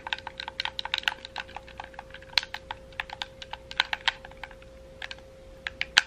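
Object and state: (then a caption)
Plastic game controller buttons clicking. Fingertips rapidly click the buttons and thumbsticks of a hollow, red, wired plastic gamepad held in both hands. About 25 short, dry, bright clicks come in an irregular flurry, each dying out almost instantly, over a faint steady hum.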